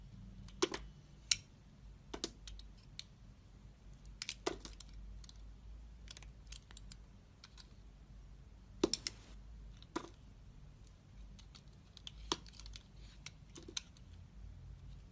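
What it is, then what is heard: Bar soap being cut. A utility knife blade, held with long red nails, trims and scrapes the edges of a solid lilac bar soap with blue edge remnants. A series of sharp, crisp clicks and short bright scrapes sound at irregular intervals over a faint, steady low hum.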